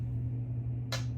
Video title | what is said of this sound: Titanium Tuesday! Featuring Yates TiMerica | can hear that happening that's magnetic I'm not just tapping it